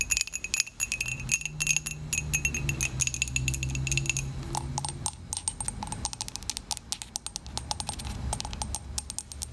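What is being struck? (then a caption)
Glazed ceramic mug. Long pointed acrylic nails tap rapidly on the side and base of a small, hollow, dark glazed ceramic mug with a logo, held in the hands. The taps make bright, high clicks with a faint short ring, over a low murmur that swells in the first half.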